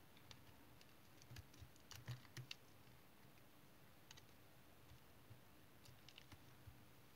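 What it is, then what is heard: Tar soap bar shaved with a blade. A solid, dried brown tar soap bar held in the hand is shaved with a utility knife blade into curled chips. The cutting and scraping comes through as quiet, sparse, sharp clicks and scratchy ticks with a bright edge over a low background hum, with a denser cluster of scrapes near the two-second mark.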